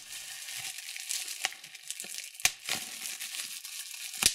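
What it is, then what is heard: Plastic bubble wrap being popped. A large sheet of clear plastic bubble wrap with small air-filled bubbles is held in both hands while fingertips and thumbnails pinch and pop individual bubbles. A steady bright crinkling runs throughout, broken by sharp, short snaps, with three louder pops standing out clearly.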